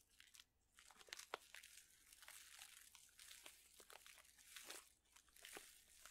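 A plastic pouch full of dried chili peppers is flexed, folded and crinkled with fingertips. The result is a quiet, continuous bright crinkling with sharp crackly snaps and faint rustling from the dried peppers shifting inside.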